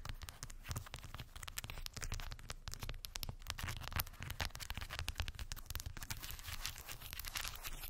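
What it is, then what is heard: Wooden beads on a cork board. Long white acrylic nails tap and scratch across a small rectangular cork board densely covered with solid, round wooden beads. The result is a steady stream of rapid, crisp clicks and rattling scrapes, with bright high edges over a soft low rumble, lasting the whole clip without pause.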